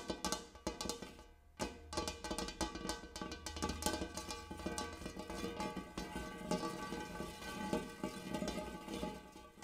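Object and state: Large metal bowl.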